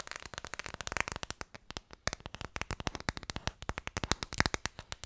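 Long fingernails tap rapidly on a red phone case, probably plastic, held in both hands, producing about forty sharp, dry clicks over five seconds. Each tap is brief and bright with almost no ring, forming a fast, uneven patter.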